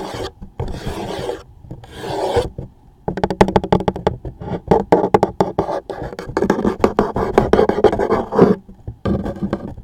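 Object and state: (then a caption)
Cardboard tissue box scratched. A toothpick or fingertip scratches and rubs the top label of a closed, medium-size, hollow cardboard tissue box. Long raspy rubbing strokes give way to quick runs of dry, ticking scratches, with a hollow, boxy low-mid body under each stroke. Short pauses break up the strokes, and the final scratch trails off quietly.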